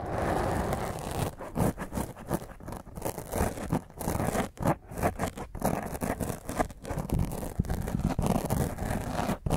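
Fingernails scratch a black foam microphone windscreen with a hand cupped over the top. The result is dense, rough scratching and rustling, heavy in low, muffled tones. A steady stretch at the start breaks into uneven bursts with brief gaps.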